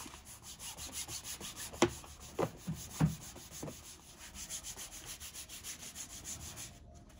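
A shoe shiner, using both hands, pulls a long strip of buffing cloth back and forth across the toe and vamp of a tall brown leather riding boot worn on the foot. The result is a steady, rhythmic swishing rub with a bright hiss on each stroke. Four sharper thumps stand out near the middle, and the rubbing cuts off just before the end.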